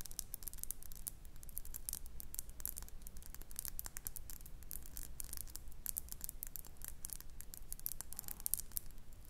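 Long nails rapidly tap and scratch a small faceted glass perfume bottle with a metal cap, partly filled with amber liquid and held close to the mic. The result is a quiet, continuous stream of crisp, bright clicks and scratchy rustles with very little ring, over a steady low background hum.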